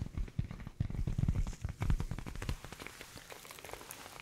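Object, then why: Leather headphone ear pads. Fingers tap on the worn leather ear pads of an old pair of headphones, making dense, soft, sticky-sounding taps with a dull low thump and almost no ring. The tapping is heaviest in the first two and a half seconds, then continues more lightly.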